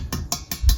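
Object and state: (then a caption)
Solid-sounding water side of a steel expansion tank. Four taps on the water-filled side of a steel boiler expansion tank produce short, dull, solid thuds with a deep low body and almost no ring. Heard against the tank's hollow-sounding air side, this solid sound is the expected result for a working tank.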